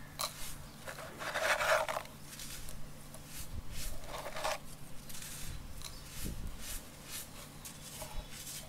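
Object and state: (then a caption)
Dry sand clumps crumbling. Fingertips dig into loose, dry yellow sand and scatter the grains, then both hands crush a small solid sand clump over a container of sand. Soft, bright gritty rubbing is broken by louder crackling bursts of crumbling, over a steady low hum.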